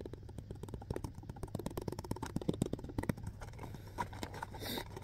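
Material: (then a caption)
Plastic. A hollow, clear plastic alkaline water bottle with a blue cap is held in both hands and rapidly gripped and tapped with the fingertips. The result is a quick, steady stream of soft, dull taps and crinkly squeezes, heavy in the low end, with each sound dying away almost at once.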